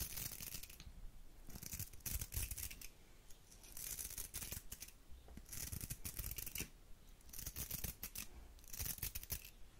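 A round hair brush with a metal barrel and plastic bristles has its bristles scratched with long nails. The result is bursts of rapid, bright scratchy rasping that alternate with quieter pauses, over a low rumble.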